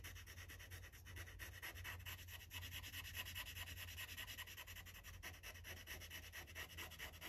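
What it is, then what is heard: Marker scrubbing on a paper page. A gold Sharpie felt-tip marker scrubs in rapid, short strokes over a thin white coloring-book page lying flat, while the other hand holds the page. The result is a continuous, bright, scratchy rubbing with a loose back-and-forth rhythm, over a steady low hum.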